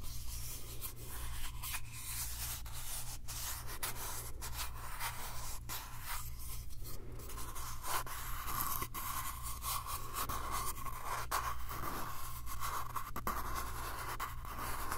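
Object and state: Small wooden box.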